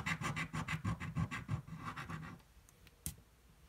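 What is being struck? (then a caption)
Paper scratch-off ticket and coin. A coin scratches the play area of a thin red card scratch-off lottery ticket resting on a table, producing a quick, fairly regular run of rasping strokes, about three per second. The scratching stops after roughly two and a half seconds, leaving near-quiet, then a single short, sharp tick near the end.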